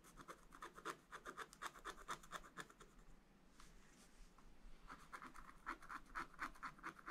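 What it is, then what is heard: Wax-coated scratch art paper being scratched. A wooden stylus held in the hand scratches lines into the wax-coated black page of a spiral-bound scratch art book, with a rainbow layer beneath, lying flat on a table. Quick, irregular scratchy strokes come in bright rasping bursts, softening into a quieter, smoother scraping in the middle before the brisk strokes return.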